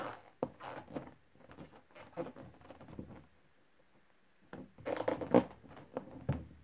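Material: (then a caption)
Latex. A thumb with a painted nail rubs and scratches the surface of a large, inflated yellow latex balloon near its knot; the balloon is hollow and full of air. This makes short, squeaky rubbing strokes in uneven bursts. After a quiet pause, a louder cluster of squeaks follows.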